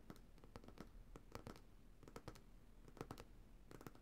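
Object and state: Glass coconut oil jar bottom, nail tapping and scratching.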